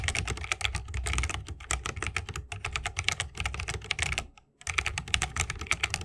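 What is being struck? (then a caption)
Mechanical keyboard with plastic keycaps in a bamboo wooden case. Fingertips of both hands type continuously on a 60% mechanical keyboard with plastic keycaps and Holy Panda tactile switches, set in a bamboo wooden case. A rapid, steady stream of crisp, bright clacks sits over a low thocky body, with short dry decays. The typing pauses briefly near the four-and-a-half-second mark before picking back up.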